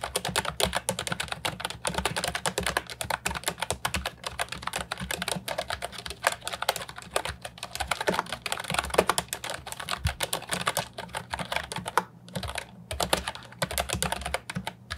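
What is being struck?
Plastic computer keyboard with round keycaps.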